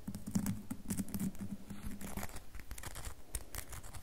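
Long nails tap and scratch the faces of a solid rectangular red bar of soap with a scored face. A rapid, irregular patter of short, dry clicks and scraping strokes continues throughout, with a low tonal hum near 190 Hz under the first half.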